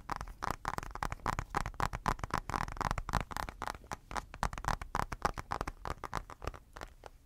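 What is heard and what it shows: The smudged glass screen of a blue-cased tablet, held up close, is tapped rapidly with fingertips and nails. The taps come in quick, uneven bursts: short dry clicks with a soft low thump beneath a faint midrange tone.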